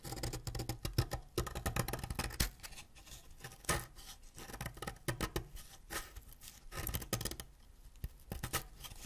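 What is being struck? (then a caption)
Wax crayon scraped with a ceramic blade. A solid green wax crayon held in the fingers is scraped with a white ceramic knife, shaving green wax dust and curls onto a pile of shavings. Quick, dry, scratchy strokes come in uneven clusters with short quiet gaps between them. Each has a crisp bright edge over a fuller low body.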